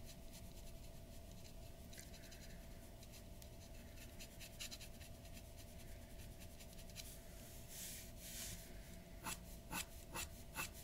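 The nib of a glass dip pen scratches a large flat sheet of white drawing paper resting on a wooden table, in quick, uneven strokes. Quiet, dry, bright scratching runs over a low rumble and a faint steady tone, with a few longer rasping passes. Sharper, distinct ticks come near the end.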